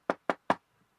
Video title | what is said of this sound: The Reincarnation Soul-Trap: Remote Viewers And Alien Abductee Discuss The Prison-Planet Theory | I mean I'm sitting at my desk. You can hear that. I'm knocking on it.